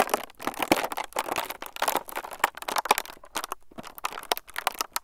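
A clear, transparent plastic film sheet is squeezed and crinkled between fingertips above the recorder, producing a steady run of dry, bright crackles and rustles with little low end. The crinkling comes in irregular bursts with brief quieter gaps throughout.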